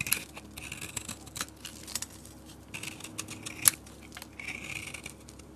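A utility blade shaves curls off the surface of a solid peach bar soap with a dark coating, held in the hand. Quiet, dry, bright scraping and crackling come in short strokes, with one sharper click near the end.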